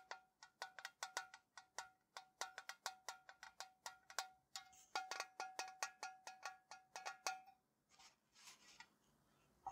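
A tall, hollow printed metal Ceylon tea tin, held upright and then rested against a wall, is tapped with fingertips and nails. Dozens of quick, bright metallic taps ring with a short tinny tone around 770 Hz, with a few softer, scratchier taps near the end.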